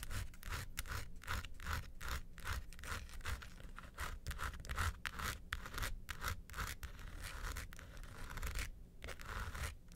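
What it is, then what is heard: Plastic hard-shell vanity case. Long acrylic nails scratch and tap the quilted top and sides of a small, closed, hollow mint-green hard plastic (ABS) vanity suitcase. A steady run of quick scraping strokes with bright, rasping edges mixes with soft, hollow low-end knocks from the shell. The sound stays fairly constant throughout, without a clear pause.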